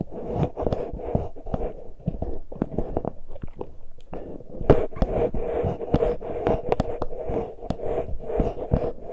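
Fingertips of both hands lightly touch and scratch the uncovered small X-Y microphone capsules with metal mesh grilles on a Tascam recorder. The result is a close, steady run of soft scratching and rapid, muffled taps and thumps, with a low, boomy body and a faint midrange ring around 400–500 Hz.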